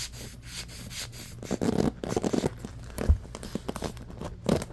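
A bamboo paddle hairbrush with a black rubber cushion and pins is first held and then set on a blanket while fingertips scratch fast across the pins. The result is a quick, rough scratching and rubbing texture with a dull low rumble underneath and short louder bursts throughout.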